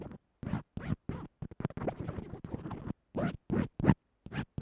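The metal tip of a mechanical pencil scratches along white textured tape that holds a small earphone microphone flat to a table. Short, rasping scrapes come in quick bursts with brief silences between them, some runs blurring together in the middle. The sound is close and muffled, with most of its weight in the low range.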